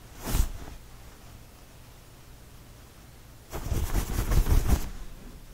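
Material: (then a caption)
Cotton. Fingertips scratch and rub a fold of a purple knit cotton t-shirt close up. A brief burst of scratchy rustling is followed by a quiet pause, then a longer stretch of fast, dense scratching with a soft, low-heavy texture.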